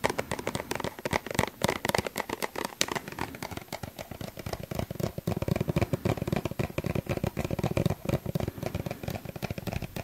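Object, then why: Plastic suncream tube. A small, hollow yellow plastic suncream tube is held close to the microphone and tapped with the fingertips. The taps are quick and nearly continuous, making soft, hollow thuds that are heaviest in the low end, with light plastic clatter on top.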